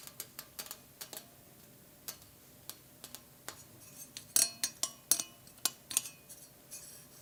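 A thrift-store wire decoration shaped like a pear or squash is tapped and scratched, producing a series of light, sharp metallic clicks and ticks. The sounds are bright and high-pitched with almost no low end and only a very short ring. A louder, denser cluster of taps comes in the second half.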